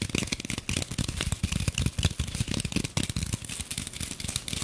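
Long nails rapidly tap and scratch a light, solid rectangular green floral foam brick held in both hands and partly wrapped in clear plastic film. The result is a fast, continuous stream of dull, low thuds mixed with bright, crinkly scratching and rustling from the film, each tap dying away almost instantly.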